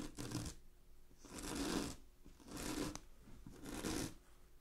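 Long glittery fingernails quickly scratch a large sheet of shiny blue satin synthetic fabric lying flat, producing four separate bursts of dry, bright, hissy rasping. Soft pauses fall between the bursts.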